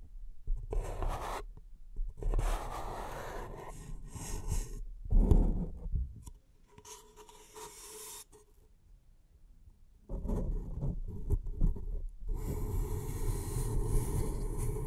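Long nails scratch the surface of an empty, hollow beige paper cup held in the hands, making dry rasping and scraping strokes with a low, hollow body. The scratching comes in bursts, drops to a faint quiet stretch in the middle, then returns as steady, continuous scraping.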